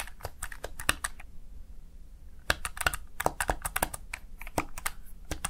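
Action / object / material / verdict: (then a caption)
tap / plastic gaming keypad / plastic / none. Fingertips rapidly type on the keys of a small backlit plastic Razer Tartarus Chroma gaming keypad, seen from the side. About two dozen sharp, bright plastic clicks and clacks come in quick bursts, separated by a brief quiet pause in the middle, over a low steady background hum.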